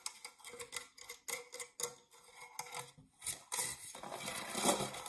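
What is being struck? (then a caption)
Metal springform cake pan. Fingernails scratch the ribbed side wall and base of an empty, dark metal springform cake pan. Short, bright, rasping strokes come in an irregular series, then give way to a longer, louder continuous scratch with a thin metallic ring.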